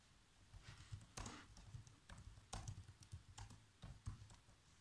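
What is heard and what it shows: Bare fingertips press the keys of a black plastic laptop keyboard, typing while a hand sweeps over the keys. Soft, low thumping key presses come in uneven clusters, with a few sharper clicks that carry a bright top.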